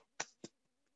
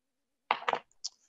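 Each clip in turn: First: human body with clothing, dull sound-absorbing tap. Second: wooden table, hard reflective surface.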